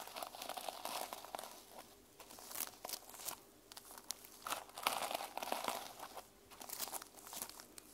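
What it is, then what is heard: Sequin-covered notebook. Long nails scratch across and flip the plastic sequins on the cover of a closed mermaid sequin journal. The result is a run of dry, crinkly, scratchy bursts with bright clicks, little low end and almost no ring, swelling and fading in waves with short quieter gaps between them.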